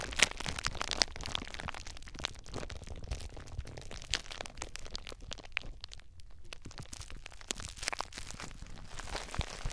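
Clear plastic bubble wrap is bundled around a recorder while fingertips squeeze and pop the bubbles. Close, dense crinkling and crackling run throughout, with sharp, bright pops standing out over a low rumble of handling noise.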